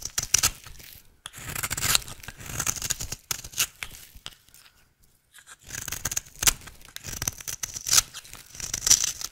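An oval, solid, dry pink soap bar held in the hand is shaved with a utility knife blade, cutting it into fine shreds. Quick, bright, papery scraping and tearing strokes come in dense bursts, with a near-silent pause in the middle before the shaving resumes.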